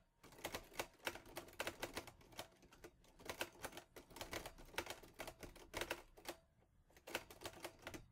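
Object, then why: Metal portable typewriter keys. Fingertips type fast on the keys of a teal metal portable Olivetti Lettera 22 typewriter. The result is rapid, sharp, bright clacks of the typebars striking, with short dry decays. The bursts are separated by a couple of brief pauses.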